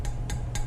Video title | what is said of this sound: Adding a Resonator to a 2000 Honda Civic to Remove the Raspy Header Sound | that fiberglass packing is going to help deaden the sound and that's why when you tap on it it sounds more dead